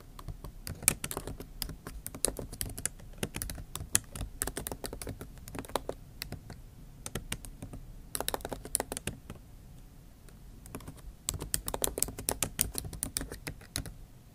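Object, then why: Laptop keyboard, plastic keys in a metal body. Both hands type fast on a MacBook Pro backlit keyboard, with plastic keys set in a hollow aluminium body, tapping the keys with the tips of long acrylic nails. Dense bursts of short, sharp, bright clicks with a low thud under them run steadily, easing into a sparser stretch around 9 to 11 seconds before picking up again.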